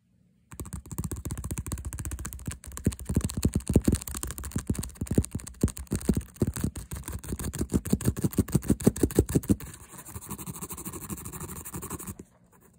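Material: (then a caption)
Faux leather. Long blue-painted nails and fingertips quickly tap and scratch along the smooth front panel of a hollow white-mint faux leather lolita bag, with a stitched pink cross, a 'Sweet Girl' print and a scalloped stitched edge. A rapid, uneven stream of soft, dull taps mixed with light scratching runs almost continuously for about twelve seconds. Louder bursts of tapping come around the four-second and nine-second marks.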